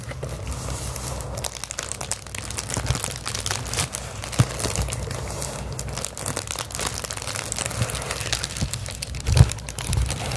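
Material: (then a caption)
Plastic. Clear plastic bubble wrap is crumpled, then held flat and scratched and tapped with long acrylic nails. A steady crinkling, scratchy rustle runs throughout over a low rumble, with sharp crunchy clicks and a few louder taps standing out near the middle and toward the end.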